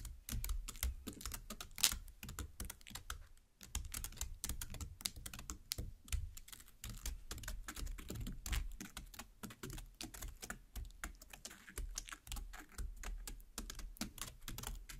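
Long black nails rapidly tap and poke into the soft red flesh of a large watermelon half, cut side up. The result is a dense stream of quick, crisp clicks with bright edges over soft, dull low thuds, each tap stopping almost at once.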